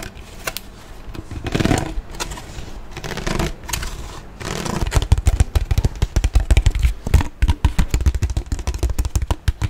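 An empty, hollow, large clear ridged PET water bottle is held up close and handled by hand, tapped and scraped with the fingers. For the first few seconds, soft scraping and crinkling swells in and out. After that comes a fast, irregular run of dull, hollow, low thumping taps that lasts until the end.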